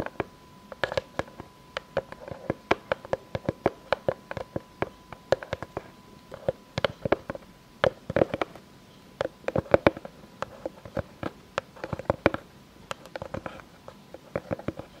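Long fake nails tap and scratch on a solid, round board of light unfinished pine with knots, held upright. Dozens of short, dry, woody taps with almost no ring come in quick, irregular bursts, centered on a hollow tone around 560 Hz. Soft scratching fills the gaps, and a faint steady tone sits near 1 kHz underneath.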